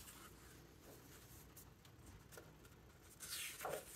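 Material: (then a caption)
Paper. Fingertips rub across the glossy paper pages of a large open hardcover book and flip them, making soft, quiet rustling and brushing. The clip ends with a louder, bright swishing page turn.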